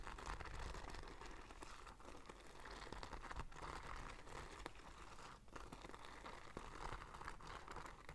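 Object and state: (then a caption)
Beaded fabric bag. Long dark nails scratch and rub the gold bead embroidery on a soft, hollow black cloth tote bag held up by its handle. The result is a steady, quiet crinkling rasp dotted with tiny bead clicks, with a low rumble underneath.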